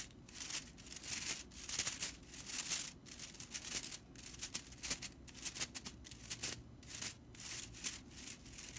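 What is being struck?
Straw whisk broom bristles.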